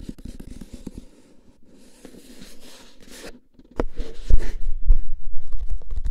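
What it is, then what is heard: Cardboard tube can tapped with fingertips. A hollow, paper-wrapped cardboard can is held horizontally in both hands and tapped with the fingertips. Soft scratchy brushing and light taps come first, then louder, low, hollow thumps in an irregular quick rhythm.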